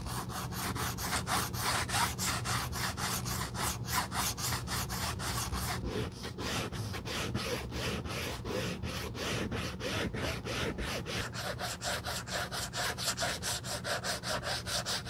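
The worn edge of a hollow Gucci monogram coated-canvas handbag with suede lining, held in gloved hands, is rubbed back and forth with a small strip of red sandpaper. The result is a steady run of rapid, rhythmic scratchy strokes with a bright, gritty hiss over a low, hollow body hum.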